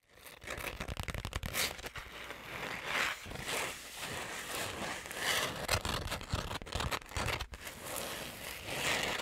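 A flat, hand-sized, hollow pouch made of gold glitter-coated fabric is held up and scratched quickly with long acrylic nails. The result is a continuous stream of bright, rasping scratches and crackly rustling that swells and dips in irregular bursts for about nine seconds.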